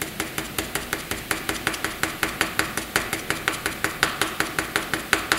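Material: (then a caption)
Paper. A pencil makes short, quick hatching strokes on a flat sheet of white drawing paper. About thirty dry, scratchy strokes follow one another in a brisk, slightly uneven rhythm, each a brief bright scrape with almost no ring.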